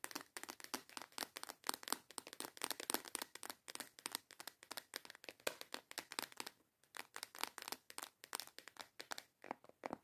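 Long yellow acrylic nails tap fast on a small transparent plastic box with clasps, full of false nail tips. The sound is a steady rapid run of sharp, dry, bright plastic clicks with no ring, grouped in quick bursts with a brief pause around the middle.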